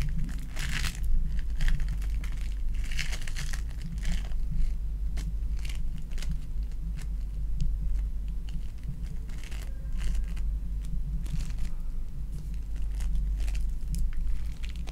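A soft, solid lump of sticky lilac foam bead clay is squished and pressed between fingertips and long nails, crushing the beads. Dense, bright crinkling and crackling snaps run continuously for the whole clip over a steady low hum.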